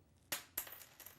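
A button from a lady's coat is dropped and lands with a sharp, bright click, followed by three smaller ticks as it bounces and settles. It is the probable source of a noise heard earlier.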